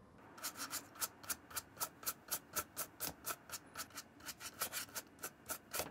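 A wooden-handled bristle brush scrubs and rubs the leather sides of a hollow brown leather shoe with a slotted side and brass buckle, held in hand. About 21 quick, bright, bristly swishes come in a steady back-and-forth rhythm, each with a faint rasping tone near 1.3 kHz and almost no low end.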